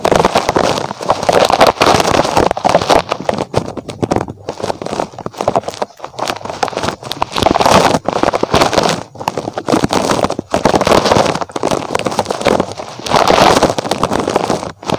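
Fingertips scratch and rub a small, soft, squishy red spiky rubber puffer toy shaped like a rabbit close to the microphone. The result is dense, crackly, rustling friction noise centered in the midrange, with a few brief pauses between strokes.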